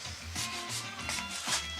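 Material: Nothing is struck.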